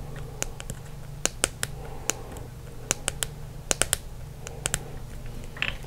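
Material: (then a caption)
Plastic. A green Expo dry erase marker, a small hollow plastic pen held in both hands, is tapped with the fingertips and short nails. The result is an irregular series of sharp, bright, dry clicks that die away almost instantly, over a steady low hum.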